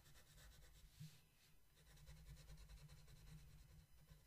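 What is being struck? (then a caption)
Paper colouring book page. A blue wooden colored pencil is rubbed across the same flat paper coloring book page in light shading strokes. The result is a quiet, steady, soft scratchy rubbing, with a faint bright rhythmic texture over a dominant low hum.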